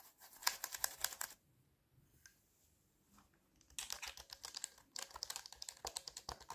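A bare mechanical keyboard with its keycaps removed, plastic switches on a metal plate, rests on a lap while fingertips press and type directly on the exposed switch stems. Quick, bright, clacky taps come in a dense burst, fade to a near-silent pause with a few faint ticks, then return as steady typing through the end.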